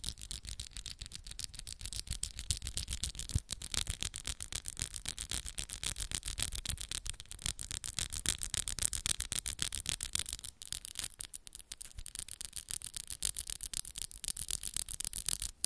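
Long coffin-shaped acrylic press-on nails tap and scratch against each other quickly as the fingers interlace. The result is a dense, fast, uneven stream of quiet, bright clicks and scratchy rasps with no ring after each hit, continuing for the whole clip with a short lull around the ten-second mark.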